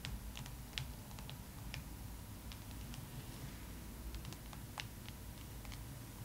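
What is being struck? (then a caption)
Glossy paper magazine cover. Long acrylic nails on both hands tap and scratch the cover of a thick glossy paper magazine lying flat. Quiet, sharp, bright clicks and light scratches land irregularly over a steady low rumble. A faint thin tone runs underneath throughout.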